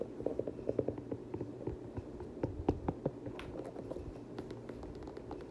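Fingers scratch the fabric inner lining, tongue and suede upper of an empty black suede Air Jordan 6 UNC sneaker. Soft, dull, low-mid scrapes and brushing strokes come in quick, uneven bursts, with a few sharper clicks standing out near the middle. It is a steady, close, muffled rustle with no ringing.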